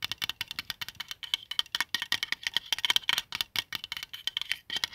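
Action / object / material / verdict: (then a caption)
tap / plastic compass disc / plastic / none. Fingertips tap and scratch the printed dial of a plastic qibla compass, a palm-sized flat white plastic disc with a central compass, resting on a blanket. About 33 quick, dry, bright clicks and ticks come in a rapid, uneven run, with a thin tone near 3.1 kHz and almost no low end. Each tap dies away at once, with no ring.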